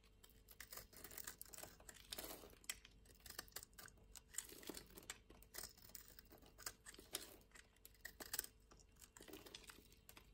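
A small solid green rectangular soap bar, held in hand, is scored and scraped into flakes and curls with a metal utility-knife blade. Quiet, bright scratching and crisp crunching strokes repeat in short, irregular bursts, with a faint steady hum underneath.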